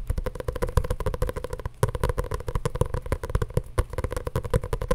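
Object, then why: Hardcover journal with paper pages. Long nails tap rapidly and steadily on a solid hardcover journal with a grey printed cover and paper pages, held in the hands. The result is a dense run of short, dull taps with a low, hollow thump and a faint clicky edge from the nails, each dying away almost instantly.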